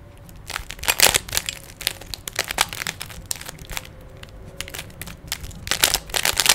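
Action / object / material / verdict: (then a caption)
scrape / plastic puzzle cube / plastic / none. Fingertips twist the layers of a small hollow plastic 3x3 Rubik's cube with stickers. Dense bursts of bright, dry plastic clicks and crackles come in quick clusters with brief pauses between. Each click dies away almost at once.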